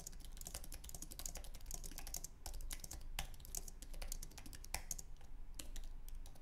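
Fingertips of both hands type on a white, low-profile Apple Magic Keyboard with an aluminum base and plastic keys. The result is a steady, quiet patter of short, dry key clicks with bright ticking edges over a low background hum.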